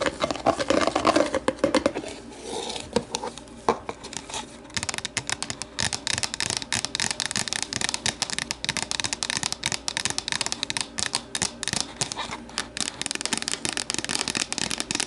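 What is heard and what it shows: Long matte nails on both hands tap and scratch the sides of an empty, hollow, translucent plastic deli container resting on a table. The first few seconds are soft scratching and rubbing, then a dense stream of quick, bright plastic clicks with a hollow mid-pitched tone. Each tap dies away almost instantly.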